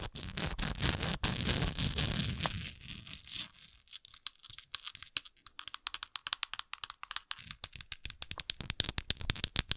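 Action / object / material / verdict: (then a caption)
tap / plastic tablet bottle partly filled with tablets / plastic / none. Long nails scratch and tap the sides of a translucent, textured plastic Tums tablet bottle that is hollow and partly filled with tablets. Dense, continuous bright scratching with a low rumble fills the first few seconds. It then gives way to quick, sharp, irregular taps, and the tablets may rattle inside.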